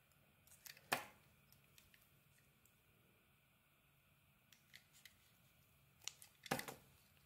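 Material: Soap.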